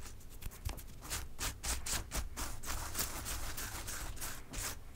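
Long nails and fingertips of both hands tap and scratch the soft petal tops of a large tray of packed white preserved roses. Quiet, rapid, uneven bursts of bright rustling and scraping run over a steady low hum.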